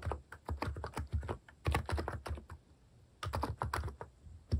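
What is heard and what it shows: Fingertips press and tap the keys of a mechanical keyboard with plastic keycaps while typing. The result is bursts of quick, deep, thocky clicks with short gaps between them. Each keystroke dies away almost at once.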